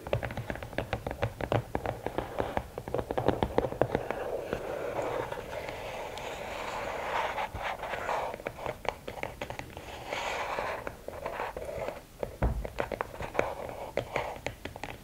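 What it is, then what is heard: Rigid cardboard gift box. Long nails tap rapidly on the lid top of a closed, hollow red and black rigid cardboard gift box, then scratch along its sides. The taps are short, dry clicks with a hollow midrange knock, and the scratching adds a brighter, rasping texture between bursts of tapping.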